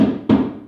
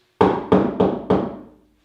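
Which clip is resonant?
The second.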